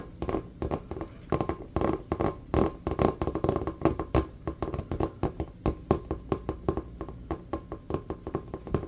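A full-size, hollow, inflated rubber basketball held on the lap is tapped quickly with the fingertips and nails. Dozens of fast, irregular taps sound as short, dull, hollow thuds with a low body and a mid-range ring near 370 Hz. Each tap dies away almost instantly.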